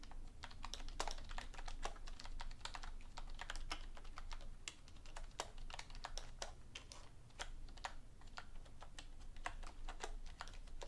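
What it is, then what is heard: Plastic computer keyboard being typed on. A hollow black plastic desktop keyboard, lying on a dark cloth on a wooden desk, is typed on steadily with long painted nails and fingertips. The clip is a dense, continuous stream of quick, bright clicks over a low, steady rumble. The typing goes on without a break throughout.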